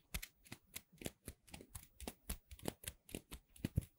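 Fingertips with long red nails squeeze, rub and press two small dark gray playcorn pieces of soft solid cornstarch foam, one held in each hand close to the microphone. A quick, steady run of short, dry, crisp squeaky crinkles follows, each burst bright with a soft low thump underneath and no ring after it.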